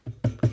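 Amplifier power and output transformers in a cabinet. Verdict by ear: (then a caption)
Loose. Three low, dull taps on the transformers of a modded Marshall JMP 2203 amplifier produce short, boomy thuds with a slight rattle. The transformers are very rattly, which suggests they are loose, and the power transformer sits at a slight angle.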